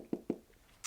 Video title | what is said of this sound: Invellop Leatherette Smart Cover Case for the iPad 3 & 2 | it feels like there is a hard backing uh that it's wrapped around so you can kind of hear that